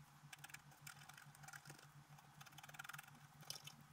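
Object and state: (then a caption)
Scratch-art paper sheet. A thin wooden stylus scratches away the black coating of a flat scratch-art card with a holographic color base in repeated short strokes, while the other hand steadies the sheet. Quiet, dry, bright scratching bursts crackle over a steady low hum.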